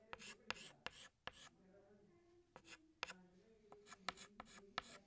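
Fingertips hold a green chalk stick and scratch it across a large flat black chalkboard while drawing leaves. Quiet, bright, dry scraping strokes come in short bursts, each starting with a sharp tick and some carrying a faint squeaky tone.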